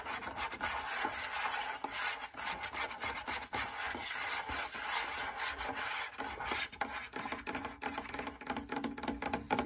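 Fingernails scratch the inside and lower edge of a large, lit, hollow cylindrical fabric drum lampshade. The sound is a steady, bright, raspy rubbing with short gaps and quick bursts, centered around 830 Hz with very little low end.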